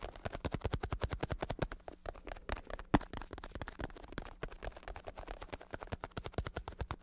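A black padded bicycle saddle with red trim, its vinyl synthetic-leather cover stretched over foam and a hard plastic shell with a hollow underside, is held in hand while fingertips and nails tap and scratch the cover. A rapid, steady stream of short, dull taps with soft scratching runs throughout, with one sharper knock near the three-second mark and a faint low hum beneath.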